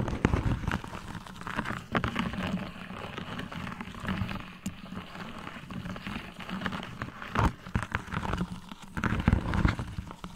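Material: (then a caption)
Plastic. A thin, hollow, embossed holographic plastic sleeve with a raised pyramid pattern, fitted over a microphone, is tapped and scratched with long metallic gold nails from both hands. A dense, continuous stream of quick crackly taps and scratches sits heavy in the low end, with short, dry hits and occasional louder bursts.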